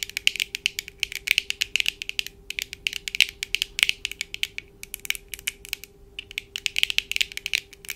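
Long acrylic nails of both hands tap quickly on the lenses of black plastic-framed eyeglasses worn on the face. The result is a dense run of sharp, bright clicks centered around 2.3 kHz, with brief pauses between bursts over a faint steady hum.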